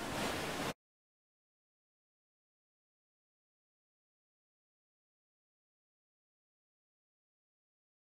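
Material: Nothing is struck.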